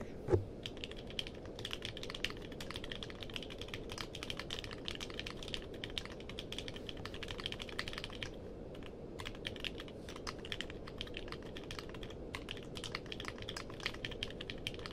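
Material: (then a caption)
Plastic. Both hands type with their fingertips on a compact mechanical keyboard with a purple case and plastic keycaps. Rapid, steady clacks run throughout, with bright key clicks over a low, hollow thud from each keypress. One louder keystroke comes near the start.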